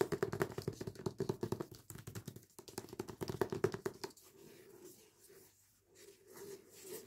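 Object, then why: Hardback book with paper dust jacket. Long painted nails scratch, rub and tap the paper dust jacket cover and spine of the hardback book "Complicit," making a fast run of crisp, dry taps and scratches for about four seconds. The sound then eases into a softer, quieter rubbing swish that fades and swells until the end.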